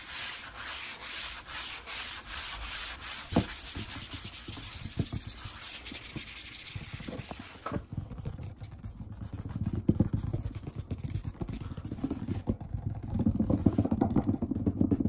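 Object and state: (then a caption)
Wooden tabletop rubbed and tapped. Fingertips and palms rub, sweep and tap across a large solid wood-grain tabletop. The first half is a bright, scratchy run of rapid sweeping strokes. It then shifts to duller, lower rubbing and quick soft taps on the surface.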